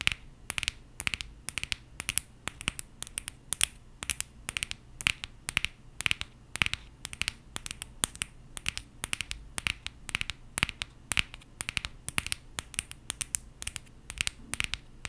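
A small gold aluminum coffee capsule is held in both hands close to the mic and scratched and tapped with long painted nails. A steady stream of sharp, bright clicks and taps with dry scratchy texture dies away almost instantly, over a faint low hum.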